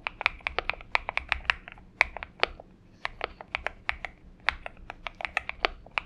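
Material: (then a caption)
PBT plastic. Fingertips of both hands type on a purple Xinmeng M71 mechanical keyboard with PBT keycaps. A rapid, uneven run of crisp, bright clicks comes through, each dying away almost instantly, with a clacky tone centered around 2.3 kHz and very little low end.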